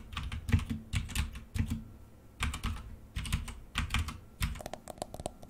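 Both hands type rapidly with fingertips and short-to-medium nails on a full-size black plastic mechanical keyboard with a few red keys, which is hollow-bodied with keycaps and lies on a desk. Quick bursts of hollow, low-heavy clacks come in flurries separated by short pauses. Each keystroke stops almost at once.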